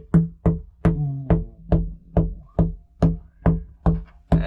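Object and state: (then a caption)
Delaminated fiberglass deck. Eleven taps on a delaminated fiberglass deck panel beside the anchor locker produce dull, hollow, low thuds with a short boomy ring around 164 Hz and almost no bright content. The bad sound marks an unsound area: the panel visibly flexes and water has been leaking in, so it needs repair.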